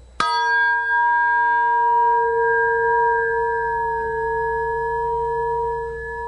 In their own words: however when aluminum resonates it does it with a Vengeance